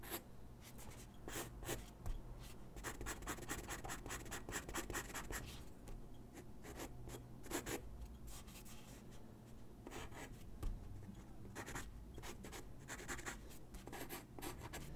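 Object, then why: Graphite pencil on a sheet of drawing paper. A graphite pencil sketches on a single white sheet of drawing paper resting on a wooden desk, making quick, scratchy strokes. Bursts of dry, bright scratching come and go in irregular runs over a steady low hum.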